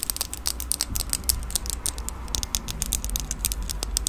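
A red plastic disposable lighter with a metal top is held close to the microphone while long nails handle it and click its mechanism. A rapid, steady series of sharp, bright clicks and taps with a faint scratchy patter plays over a low, steady rumble. Each click is crisp and dies away almost instantly.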